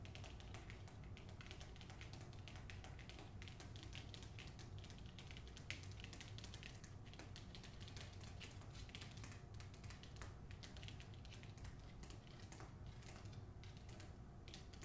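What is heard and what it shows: Long acrylic nails tap rapidly on the paper dust jacket of a held-up hardcover copy of "The Hacienda." The result is a quiet, dense stream of light, crisp clicks over a steady low hum.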